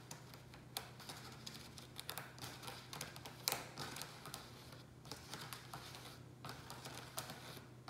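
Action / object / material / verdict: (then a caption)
tap / plastic takeout tray / plastic / none. Fingertips and nails tap rapidly and scratch along the edges and sides of a hollow black plastic rectangular takeout tray holding a ceramic pot. The result is a quiet stream of quick, dry, bright clicks with short, clacky decays and soft scraping in between, over a faint steady low hum.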